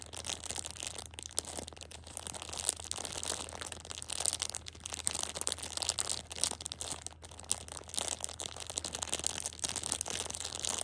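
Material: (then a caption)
Plastic film. A Shopkins pocket tissue 6-pack in clear plastic wrap is held in hand while long red nails rub and tap its surface. The result is continuous bright, crisp crinkling and crackling with small irregular ticks throughout, over a faint steady low hum.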